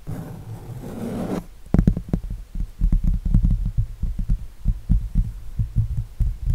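Fingertips and nails scratch and rub the painted surface of an acrylic eagle painting on canvas held upright, starting with a steady, brighter scratching texture for about a second and a half. It then shifts to a quick, uneven run of short, deep, dull taps and thumps on the canvas with almost no ring.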